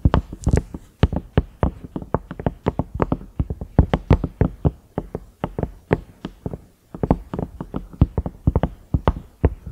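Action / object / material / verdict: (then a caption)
tap / silicone microwave lid with knob / silicone / none. Fingertips and nails tap the round knob of a large cream ridged microwave lid, likely silicone. Dozens of quick, dry taps land in an uneven rhythm, each a soft low thud with a light click on top. They die away almost instantly, with no ring.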